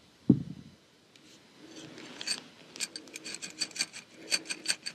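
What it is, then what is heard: Glass bottle of wooden matches. A small clear glass bottle with a cork stopper, filled with wooden matches with colored heads, is held in hand and scratched and tapped with long pink-painted nails, then tipped upside down, which may shift the matches inside. A single low thump opens the clip, followed by quiet raspy rubbing and then a string of bright, short clicks and taps.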